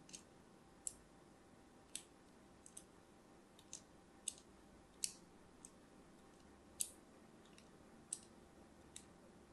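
A thin metal blade cuts crosshatch lines into the surface of an orange and white striped solid soap bar held in hand. Thirteen short, crisp, bright clicks and scrapes stand out over a quiet hiss, each dying away almost at once.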